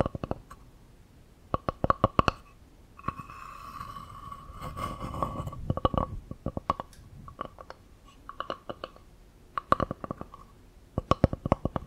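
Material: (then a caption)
Wood. A palm-sized, solid round slice of natural wood with a bark edge is held in one hand near the microphones while long nails tap and scratch its flat cut face. Bursts of quick, dry taps with a short ringing tone near 1 kHz come in clusters, broken by a stretch of steady, rasping scratching in the middle. Each tap dies away almost instantly.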